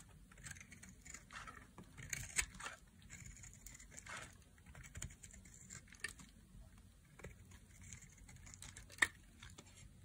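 A solid, dry yellow bar of soap is held in a hand with long painted nails and carved with a knife blade, shaving off thin curls and strips. The clip carries quiet, crisp scraping and cutting strokes with soft crinkly textures and bright sharp clicks, the loudest near 2.4 and 9 seconds, over a low background hum.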